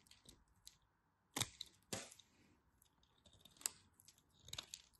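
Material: Soap.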